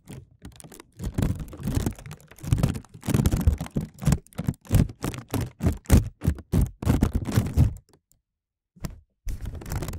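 Fingertips tap and crinkle a thin, clear plastic film bag draped over a microphone, held and pulled taut so it sits hollow. The result is fast, irregular, muffled thumps with a heavy low end and faint plastic crinkle, going quiet for about a second near the end before the tapping resumes.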